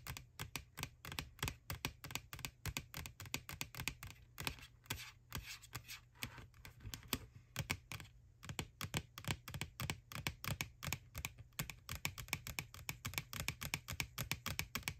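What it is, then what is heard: Plastic candy bucket tapped with fingernails. Long nails tap rapidly and steadily on the side wall of a small hollow white plastic ghost-shaped Halloween candy bucket from McDonald's, near the rim and handle. The result is a dense run of dry, bright clicking ticks with a hollow low thump under each and almost no ring. There is a brief softer stretch near the middle.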